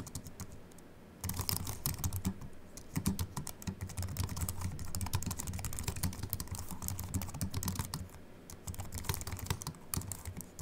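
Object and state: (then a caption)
Aluminium and plastic computer keyboard being typed on. Both hands type fast, repeated taps with short-nailed fingertips on a slim Apple keyboard with a silver aluminium base and white plastic keys, resting on a wooden desk. Sparse, quiet clicks for the first second give way to a dense stream of sharp, bright key taps over a low thump, with a brief lull near the eighth second before the typing picks up again.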